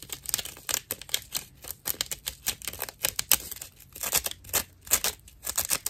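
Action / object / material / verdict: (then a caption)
scrape / natural loofah sponge / plant fibre / none. Long nails scratch the edge of a dry natural loofah sponge with visible hollow chambers, making a rapid, uneven series of short, rough scratching bursts. The sound is bright and crackly with almost no low end, and each stroke stops abruptly without ringing.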